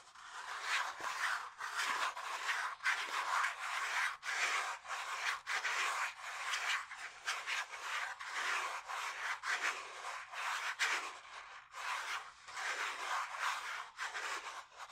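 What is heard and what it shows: A flat, rigid pink cardboard cosmetics palette box is held in both hands while fingertips slowly rub and scratch across its smooth printed surface. The result is a steady, dry, hissing scrape with no low end, pulsing in repeated strokes.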